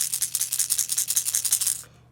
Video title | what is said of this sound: Discount Tackle Unboxing - November 2020 - Lipless Crankbaits, Jerkbaits, Cold Water Crankbaits! | get a very loud rattle